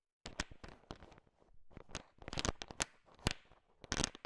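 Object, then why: Bowl of sugar-shelled peanut candies. A heap of small, hard, sugar-shelled peanut M&Ms filling a bowl is stirred and tapped with a thin wooden stick, mixing the candies. Dense, uneven clicks and rattles sound as the shells knock together, with sharp bright ticks over a low rumble and short pauses between bursts.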